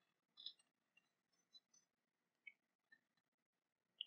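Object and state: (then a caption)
Cast-metal dagger sheath tapped with fingernails. Long painted nails tap and scratch an ornate silver-coloured cast-metal dragon dagger, sheathed and lying on a fabric cloth. Quiet, bright, dry clicks and light scratches come in a sparse, irregular series, with almost no low end. Each stops at once with no metallic ring.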